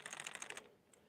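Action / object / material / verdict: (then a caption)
shake / hard plastic fishing lure with internal rattle balls / hard plastic / loud. A hard plastic crankbait fishing lure with internal rattles is shaken, giving a rapid, bright clicking rattle for about half a second before it fades, followed by one faint click. The rattle is very loud, making it a good choice for anyone wanting a loud bait.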